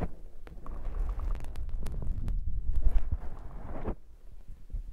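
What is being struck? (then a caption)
Foam microphone windscreen. Fingers scratch and squish the soft black foam windscreen on a handheld recorder's microphone. It sounds like a dense, muffled low rumble with irregular thumps and crackly scratches up close. The sound peaks near the middle and falls off to quieter rustling at the end.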